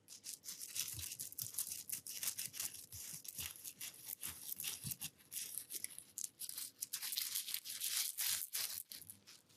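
A flat, flexible, hand-span-sized openwork mat of small bamboo or wood petal pieces, woven in a flower pattern, is shaken close up and then rubbed and scratched with the fingertips. The result is a dense, bright stream of rapid clattering, rustling and scratching bursts, with almost no low end.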